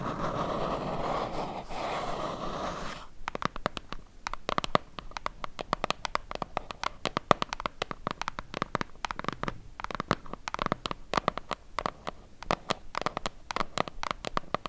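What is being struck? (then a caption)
Small cardboard box. Long nails scratch steadily across the surface of a small, hollow, white cardboard box held in both hands, making a dense, rustling scrape for about three seconds. The nails then switch to rapid tapping, producing a long run of crisp, dry clicks with a papery, hollow tone that stop almost instantly.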